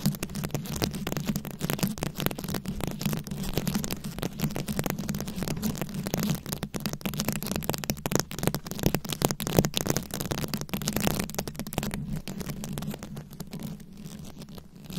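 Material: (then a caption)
Rhinestone. Long nails scratch the rhinestone beads covering a round microphone head, producing a dense, continuous crackling and rasping texture over a steady low hum. The scratching stays busy and bright for most of the clip, then thins out and grows quieter over the last few seconds.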